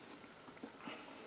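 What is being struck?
Nothing is struck.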